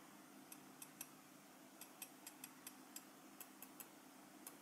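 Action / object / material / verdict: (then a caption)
tap / small enamel metal lapel pin tapped with a steel knife tip / metal / none. A small solid metal lapel pin with a black enamel face, held in the fingers, is tapped with the tip of a forked steel cheese knife. Thirteen quiet, sharp, bright ticks land at an uneven pace, each dying away almost instantly. A faint, steady low hum sits underneath throughout.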